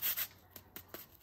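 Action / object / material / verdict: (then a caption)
tap / fried potato strip / potato / crisp. A golden fried potato strip, just fried and drained, is handled and gives a bright, dry rustle followed by three short, sharp crisp snaps, all high-pitched with almost no low end. The sound shows the fry's skin is very crispy.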